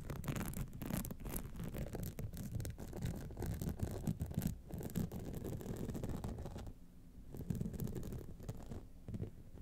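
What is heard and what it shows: Long nails scratch the lower band and sides of a gold rhinestone-studded clutch wallet standing upright. The scratching is a dense, continuous, rapid rasp, mostly low and muffled, with a brief quieter lull around seven seconds before it resumes.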